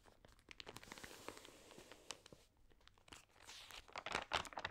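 Hands lift and turn the damp pages of an open, water-sprayed thin paper magazine, then rub them flat with fingertips. Quiet, bright crinkling and crackling rustles come in quick bursts, with a louder run of crisp crackles near the end.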